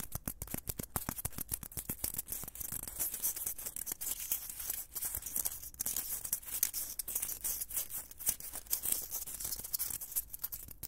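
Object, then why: Small foam blocks. Two small, solid white foam blocks are held in both hands close to the microphone, then squeezed and scratched with the fingertips. Dense, quiet scratching and crinkling textures fill the clip, with many short, sharp ticks and bright, hissy high frequencies.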